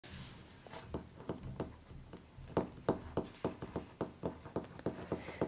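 Fingertips and short nails of both hands tap and scratch the front cover of a large, closed Harry Potter illustrated hardcover book lying flat on a table, its glossy paper dust jacket over the board cover. The result is a quick, uneven run of short, dull taps with a faint papery scratch between them.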